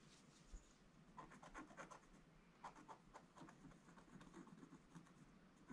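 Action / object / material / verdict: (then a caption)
scrape / scratch-art paper page scratched with a wooden stick / coated paper / none. A wooden stick scratches lines into the black coating of a gold scratch-art paper page. It makes a series of short, dry scratching strokes with brief bright rasps over a soft, steady background hiss. The sound stays quiet throughout.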